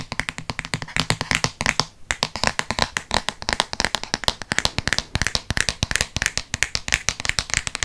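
Fingertips tap quickly on the paper-covered board front cover of a Harry Potter hardcover book held close to the microphone. The result is a rapid, steady stream of short, dry, bright taps with almost no ring, broken by a brief pause near the two-second mark.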